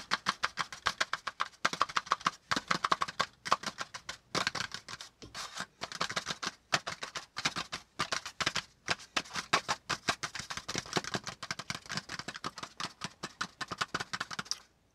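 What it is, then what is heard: Kraft cardboard folder tapped. Fingertips tap rapidly across a brown kraft cardboard folder resting over a notebook, shifting it slightly partway through. Quick, dry, papery taps come in dense bursts with short pauses between them; each tap is crisp and bright with almost no low end and dies away instantly.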